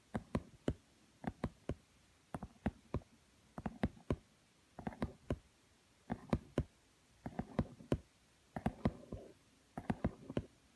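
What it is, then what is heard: Glossy cardboard book. Long nails tap the shiny cover of a thin book with a glossy laminated cardboard cover lying on a woven mat. Soft, dry taps come in uneven groups of two to four, each a low, hollow thud with a brief bright click that dies away almost at once. The tapping stays quiet and steady throughout, with near silence between the groups.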